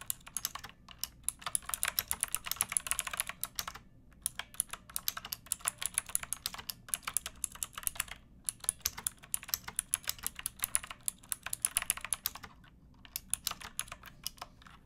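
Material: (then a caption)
Plastic. Fingertips with long painted nails type on a pink backlit plastic mechanical keyboard with round typewriter-style keycaps and a hollow case. Rapid bursts of bright, sharp, clicky keystrokes carry on steadily, breaking off in brief pauses near 4, 8 and 12.5 seconds. Each click dies away almost instantly.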